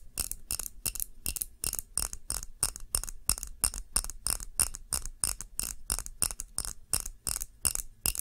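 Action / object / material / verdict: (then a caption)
tap / glass candle jar filled with wax / glass / none. Long nails tap fast on the sides of a clear glass tumbler filled with red candle wax, held in both hands. The result is a rapid, slightly uneven stream of bright, high clicks and clinks, each dying away almost at once over a faint low rumble.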